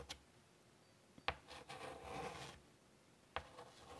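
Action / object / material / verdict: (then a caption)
tap / chalk on a wooden-framed chalkboard / chalk / none. Chalk taps and strokes across a large wooden-framed chalkboard lying flat while a small flower is drawn. A few sharp, bright clicks are separated by quiet gaps, and a longer, soft, scratchy stroke sits in the middle of the clip.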